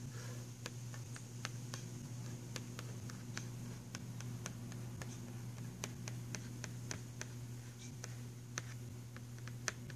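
A fingernail taps and scratches the cover picture of a filled, printed cardboard box of pastel pencils, making short, dry, bright clicks with quick scratchy strokes. The clicks die away almost instantly and sit over a steady low hum throughout.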